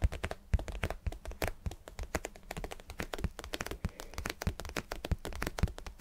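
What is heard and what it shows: A vinyl cube is tapped and scratched in a rapid, uneven run of short, dull taps with a low, thumping body and almost no ring. Faint scratchy texture fills the gaps between taps.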